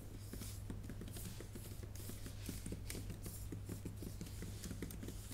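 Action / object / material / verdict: tap / laptop keyboard with plastic keys / plastic / none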